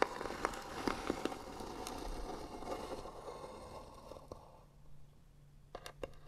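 Long natural nails scratch slowly across the flat, white-painted lid of a small rectangular hollow wooden box with beaded trim and a brass hinge. A dense, crackly scraping with scattered sharp ticks runs for about four seconds, then thins into quieter strokes. A few brief bright clicks close the clip.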